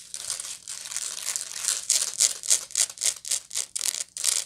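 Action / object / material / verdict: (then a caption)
scrape / woven straw bag / straw / none. Long nails scratch the woven side of a medium, hollow woven straw bag held near the face. A dry, bright, crinkly rasp runs almost continuously at first, then breaks into quick, separate scraping strokes of about three or four per second, with no low end and no ring after each stroke.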